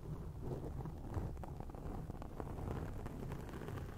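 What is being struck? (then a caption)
Foam microphone windscreen. Long acrylic nails scratch across a round grey foam windscreen on a microphone. The result is a steady, soft, muffled rustling rumble, mostly deep and low, with faint brief crackles scattered through it and no bright high end.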